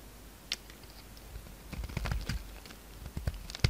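A utility knife blade carves and scrapes the edges of a solid, palm-sized pink soap bar into flakes. Quiet, dry, crisp clicks and short scrapes with a soft low thud beneath them and some bright edges come in an irregular patter, growing busier toward the middle and ending on a sharper cut.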